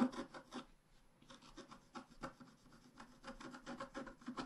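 A wooden stylus scratches across a thin, flat, black-coated scratch art card, making soft, dry, raspy rubbing strokes in quick, uneven bursts. There is a brief quieter pause near the start before the scratching resumes and continues steadily to the end.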